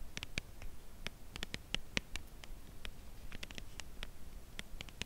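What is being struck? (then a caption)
Slim cardboard chocolate bar box. A full, slim cardboard chocolate bar box, held edge-on, is tapped with long acrylic nails. The result is a quiet, uneven patter of sharp, dry, bright clicks that stop instantly with no ring, over a soft low hiss.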